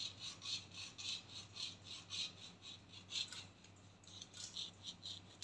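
Long painted nails scratch the hollow, textured black plastic cap of a body spray can, with the can tilted toward the camera. About twelve soft, bright raspy scrapes repeat at an uneven pace, each with a high, hissy edge and a short decay over a faint low hum.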